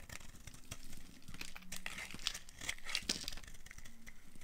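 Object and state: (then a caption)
Dry soap bar being carved. A solid, rounded, dry pink soap bar held in the hand is carved by a metal blade with a yellow handle, shaving it into flakes. The result is a dense run of quiet, crisp scraping and crinkly crunching with bright, sharp edges over a soft low rumble.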